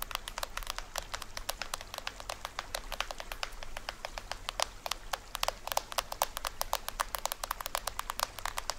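Fingernails scratch and tap near the edge of the printed plastic head of a small, hollow toy drum. The result is a rapid, steady stream of sharp, dry clicks with a bright, papery crackle and almost no ring, heard over a faint low hum.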